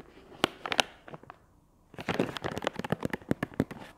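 A soft, flexible, medium-sized plastic wet wipes package with a chamomile print, filled and held in one hand, is scratched and tapped with long acrylic nails. Sharp crinkly clicks and scratches come in uneven bursts, pause briefly in the middle, then return as a denser run of crackling taps.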